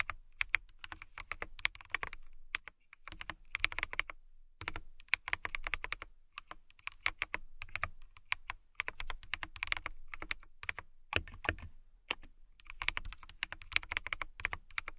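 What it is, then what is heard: Clear plastic mechanical keyboard. Continuous typing with fingertips and long nails on a clear plastic mechanical keyboard with transparent keycaps. Dense, bright, dry clicks come in rapid bursts separated by brief pauses, each keystroke ending almost instantly with little low end.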